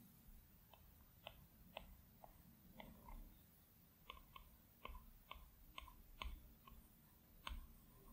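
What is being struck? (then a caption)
Plastic stylus tip on a glass tablet screen. A plastic Apple Pencil tip taps and strokes across the large, flat glass screen of an iPad Pro. About fourteen short, bright clicks land at an irregular pace, with faint scratchy strokes between them. Each click dies away quickly over a low, steady rumble.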